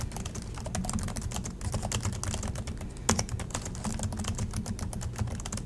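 Both hands type steadily with their fingertips on the black plastic chiclet keys of a silver Acer laptop resting on a desk. The result is a rapid, continuous stream of bright, short clicks and clacks over a steady low hum, with one sharper, louder clack about halfway through.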